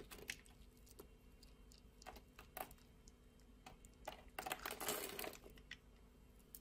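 A metal utility-knife blade scrapes and shaves thin flakes off a solid rectangular orange bar of soap held in the palm, its surface scored into a grid, with soap crumbs falling onto the table. Soft, irregular, bright crackling scrapes repeat quickly over a low, steady background hum. A louder, denser cluster of shaving comes near the end.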